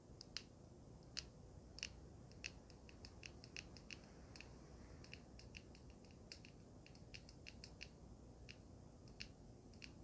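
Long red nails tap and scratch a small, solid handheld vape mod with a swirled gold and purple resin panel and a metal frame. Quiet, sharp, bright clicks come in quick irregular bursts, each stopping almost instantly, over a steady low rumble.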